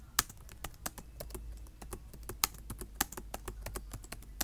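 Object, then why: Plastic laptop keyboard. Fingertips of both hands type on a black plastic laptop keyboard, tapping the keys in a quick, uneven run. Each keystroke is a short, bright, dry click that stops almost instantly, with a few sharper louder taps and a faint low hum underneath.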